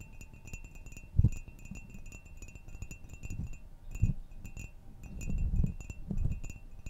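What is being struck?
Ceramic mug.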